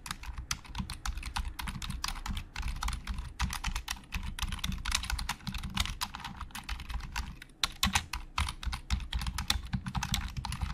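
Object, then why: Plastic computer keyboard keys. Fingertips type quickly on a black plastic Logitech keyboard with hollow plastic keys. The result is a steady stream of sharp, bright clicks, each over with a dull low thump underneath.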